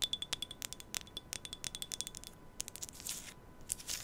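A small, empty, hollow glass tea cup with a white pattern is held against a mic in both hands and tapped and scratched with long nails. A rapid series of quiet, bright clinks rings briefly at a tone near 3.5 kHz, mixed with thin, hissy scratching. The sound stays high and delicate, with almost no low end.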